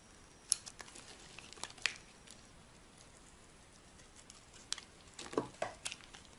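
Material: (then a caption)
Soap. A solid rectangular bar of dry white soap, held in the hand, is carved with a metal blade into thin shavings. The scratching cuts make sparse, crisp, bright scrapes and sharp ticks over a quiet hiss, with a denser cluster of cuts near the end.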